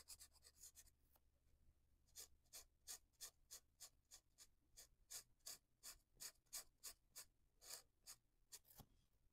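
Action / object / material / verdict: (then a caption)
scrape / felt-tip marker on paper / paper / none. A felt-tip marker scratches and rubs across a paper coloring book page in quick back-and-forth coloring strokes. Each stroke is a short, bright, papery rasp with almost no low end, repeating about three times a second, densest in the first second.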